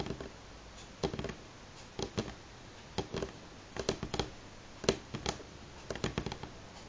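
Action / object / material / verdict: tap / pine wood tabletop / wood / none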